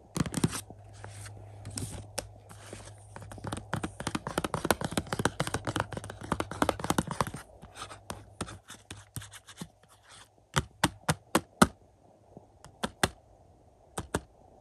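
Fingertips with short nails tap and scratch across the front cover of a Jaws 4K UHD movie case, a black, hollow, thin plastic keep case about the size of a book, lying flat on carpet next to other cases. For about seven seconds there is a dense run of quick, dry scratches and clicky taps, which then thins into sparser strokes. The clip ends with a few distinct, sharp plastic taps separated by short pauses.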